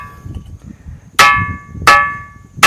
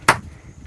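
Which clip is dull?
The second.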